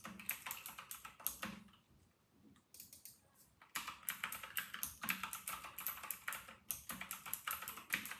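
Two hands type with their fingertips on a white and silver RK960 mechanical keyboard with round, typewriter-style plastic keycaps resting on a desk. Rapid, bright, clicky keystrokes patter in quick bursts, with a brief quieter lull in the middle before fast typing resumes. Each tap is short and dry with almost no ring.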